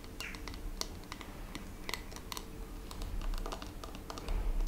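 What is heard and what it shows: Long red-painted fingernails tap and scratch the textured back of a blue glittery plastic hairbrush held in the hand. Fast, irregular, bright clicks and short scratches play over a steady low rumble.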